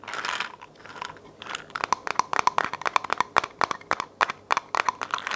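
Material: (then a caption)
Plastic. Long nails tap and scratch a hollow white plastic vitamin bottle with a label, which likely holds pills and may be shaken. A soft, scratchy rustle at the start gives way to a quick, uneven run of sharp, dry clicks with a light hollow ring around 1 kHz and brief bright edges. Each click stops almost at once.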